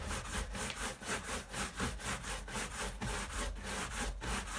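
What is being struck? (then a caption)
Leather sneaker upper brushed with a bristle brush. A hand-held bristle shoe brush is rubbed rapidly back and forth over the upper of a tan leather high-top sneaker resting on a wall rack. Steady, raspy scrubbing strokes repeat at about four per second. The sound is broadband and bright, with a low rumble underneath.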